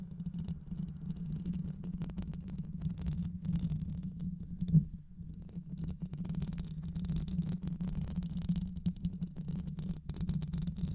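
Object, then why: Metal mesh microphone grille. Long nails scratch continuously across the metal mesh grille of a black hollow microphone. The result is a dense, low, rumbling scratch, almost entirely below 200 Hz, with a steady hum-like tone near 125 Hz. A sharper, louder scrape comes just before 5 seconds, followed by a brief quieter dip before the scratching resumes.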